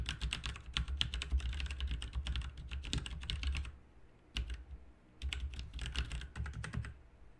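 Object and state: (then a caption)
Plastic mechanical keyboard being typed on. Both hands type with their fingertips on a backlit RGB mechanical keyboard with plastic keycaps. Rapid, dense runs of sharp, bright clicks and clacks come with a low thudding undertone. Typing bursts are broken by short pauses around the middle and near the end.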